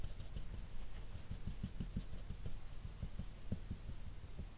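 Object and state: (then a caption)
Felt-tip marker strokes on paper. A dark felt-tip marker's nib rubs short shading strokes across a sheet of flat white drawing paper while the other hand rests still. The result is quiet, rapid, soft scratchy strokes with dull low thumps and a faint high hiss on each pass.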